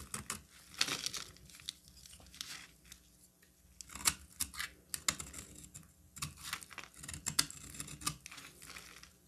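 A solid orange bar of soap, held in the hand, is cut and broken into flakes with a utility knife. Dry, bright scraping and crisp cracking sounds come in quick, uneven bursts with short pauses between them. Flakes snap off with little ring.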